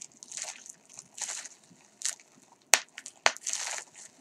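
A bunched piece of clear polyethylene bubble wrap, lying on a green towel, is squeezed and twisted between fingertips to pop its air-filled bubbles. Soft, bright crinkling bursts repeat at an uneven pace, broken by two sharp, loud pops that cut off almost instantly.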